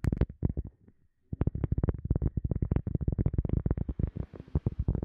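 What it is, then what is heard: Cork being tapped. A cork object is tapped quickly with fingers in a steady run of short, dull, low thuds that die away almost instantly. The taps pause briefly about a second in, then resume in a dense, even patter to the end.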